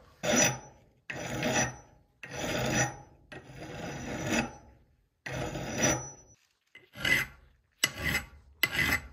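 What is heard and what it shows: A flat metal file is stroked across the claw and head surface of a solid steel head from an extremely rusted Italian hammer, clamped in a vise during restoration. Eight separate rasping strokes are heard, each a bright, gritty scrape with a slight metallic ring near 2 kHz. The ring is clearest in the last three shorter strokes.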